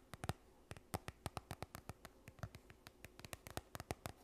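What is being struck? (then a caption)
Plastic sunscreen tube. A yellow plastic sunscreen tube, partly full, is held close and scratched and tapped with long nails. Twenty-six quick, dry taps land in an irregular rhythm, each a short, hollow knock with a low thud and a bright click on top that stops almost at once. A faint crackle of scratching runs between the taps.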